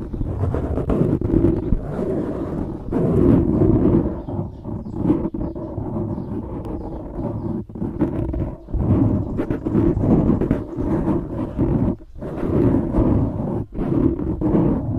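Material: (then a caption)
Foam. Fingertips and nails scratch the surface of a dark grey foam microphone windscreen, making a dense, close, muffled rustling and crackling. The sound is rumbly and heavy in the lows with almost nothing bright. It swells and dips in uneven bursts, with brief near-silent gaps.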